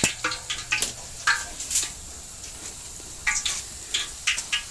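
Deep-fried pork belly skin from lechon kawali is handled, giving a series of sharp, bright crackles and crunches with short gaps between them over a quiet background. The crunchy sound shows the skin is crispy and cooked through.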